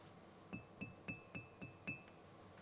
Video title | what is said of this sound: ملكة التفاصيل - رولز رويس جوست الجديدة - Rolls Royce Ghost 2021 | since they are a bit bigger it sounds a bit different